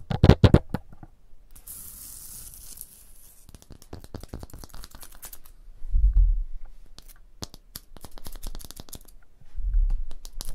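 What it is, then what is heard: Stone block wall tapped and scratched with fingernails. Long blue nails tap and scratch a solid, rough stone block wall with a mortar joint. Sharp, dry clicks come in quick, uneven bursts, with a hissing scrape early on. Duller low thuds swell in twice near the middle and end.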